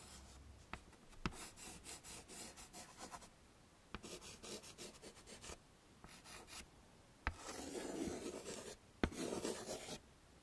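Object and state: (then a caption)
Chalk scraping on a chalkboard. White chalk held in the fingertips scrapes and rubs shading strokes onto a wood-framed chalkboard. Bursts of rapid, dry, bright scratching come in runs of a few seconds, separated by short pauses and marked by occasional sharp clicks. The strokes leave shading on the board.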